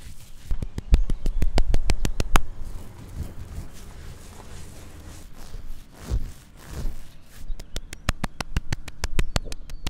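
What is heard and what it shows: Fingertips and nails tap and scratch the flat cut top of a large, solid tree stump of light bare wood, recorded up close. A quick run of short, dull taps opens the clip and gives way to softer scratching and rustling swells. A second fast burst of taps follows, with the sound deep and low throughout.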